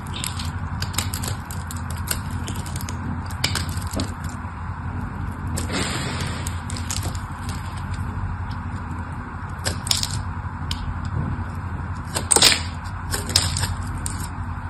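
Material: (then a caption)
Soap. The tip of a craft knife scores and carves the surface of a solid mauve bar of purple soap held in the hand. The clip is a steady run of short, crisp scraping and crackling strokes with bright, hissy edges over a low, constant hum, with a sharper, louder crack near the end.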